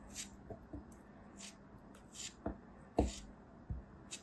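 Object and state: Kinetic sand chunk being cut and scraped.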